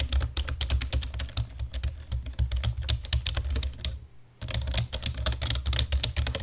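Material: Plastic.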